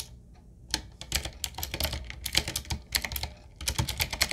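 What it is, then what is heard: Retro mechanical keyboard being typed on. Fingertips of both hands type on a 7Keys full-size, typewriter-style retro mechanical keyboard with a solid body, round plastic keycaps on a dark metal plate, and a wooden-looking frame. It gives quick, bright, clacky keystrokes with a little low thump and almost no ring. The irregular bursts pause briefly before a final flurry.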